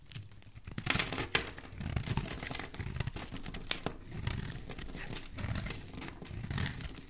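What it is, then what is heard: Soap bar being shaved. A utility knife blade shaves a solid oval blue soap bar into flakes, producing a steady run of dry, crinkly scraping and crunching rasps. Bright, hissy bursts sit over a soft low thudding undertone, with a few sharper scrapes standing out.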